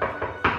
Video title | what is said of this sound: MY WREN KITCHEN REVIEW - JULY 2022 | knock on the door so you can hear how good that quality is